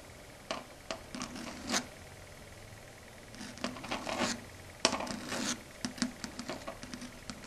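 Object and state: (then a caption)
Fingernails scratching a chalkboard. Long red stiletto nails rub and scratch a flat, solid, dark grey chalkboard surface. A series of short, bright, scratchy strokes and taps comes in irregular bursts, with quiet pauses between, and each stroke dies away almost at once.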